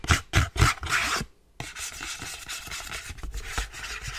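Fingers and nails rub and scratch an empty white cardboard sleeve with a window cutout. A few loud, papery scraping strokes come first, then a brief pause, followed by a steady, softer stretch of dry, bright rubbing with faint rhythmic strokes.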